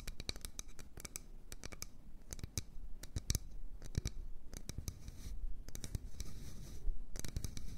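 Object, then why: Wooden bowl. Long nails tap and scratch the outside wall of an empty, medium-sized solid wood bowl held in both hands. Quick, dry taps with almost no ring are scattered over a steady low scratching rustle. Short bursts of tapping come between stretches of scraping.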